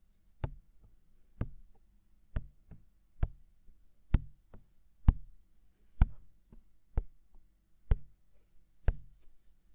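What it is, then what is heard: Silicone microphone ear tapped with fingertips. Fingertips tap the white, hollow, mounted silicone ear of a binaural microphone, making a slow series of soft, dull, deep thumps at roughly one per second. Each tap is short with no ring, followed by a brief low rumble, and quiet low hiss fills the gaps between taps.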